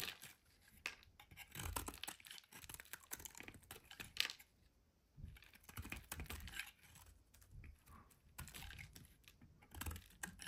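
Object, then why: Bar of soap. A solid pink bar of soap held in the hand is repeatedly scraped and carved with a metal utility blade, and the shavings fall onto a white surface. Quiet, dry, bright scraping and crisp clicking cuts come in short bursts with brief pauses between them. Some strokes carry a soft low thump.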